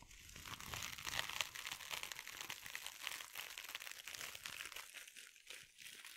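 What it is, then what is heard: Glitter mesh scrub sponge scratched. A soft sponge wrapped in glittery mesh is held over the microphone and scratched with the long nails of both hands. The result is a dense, quiet stream of bright, crinkly scratching and rustling, with rapid uneven bursts and almost no low end.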